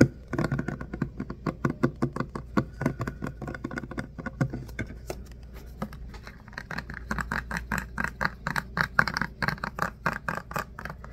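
Fingernails tap and scratch the label and body of a plastic hand soap dispenser bottle with a pump, filled with soap. A rapid, steady run of short, dry clicks and light scratches sits over a low steady hum, with the taps growing slightly brighter and more ringing in the second half.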